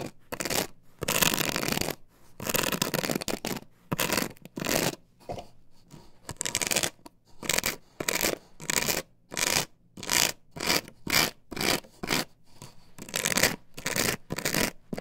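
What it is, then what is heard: Plastic stencil on wooden board. Long fingernails scratch and rub across an upright plastic stencil template glued to a wooden board. Rapid, bright, hissy scratching comes in repeated bursts separated by short pauses, some louder and harsher, others softer and lighter.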